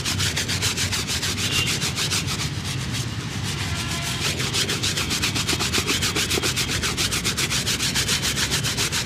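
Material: Leather.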